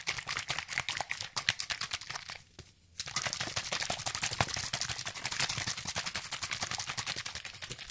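A medium orange plastic bottle with a white spray cap, hollow and partly filled with liquid, is held in one hand with fingertips and nails gripping it and shaken fast near the microphone. It makes a rapid, dense stream of bright sloshing splashes and crisp clicks. The shaking stops briefly for a near-silent pause just before the three-second mark, then resumes steadily to the end.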